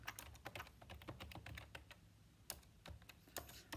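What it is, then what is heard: Plastic computer keyboard. Fingertips type quickly on a full-size white/beige plastic computer keyboard with hollow key caps resting on a desk. The result is a rapid run of short, soft tapping and clicking keystrokes with a few brighter, sharper clicks, each dying away almost at once.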